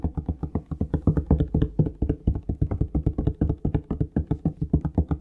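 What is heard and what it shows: A plastic Palmolive shower gel bottle is tapped rapidly with the fingertips, about 40 quick taps in a steady, uneven rhythm. Each tap is a short, low, hollow thud with almost no ring and little bright content.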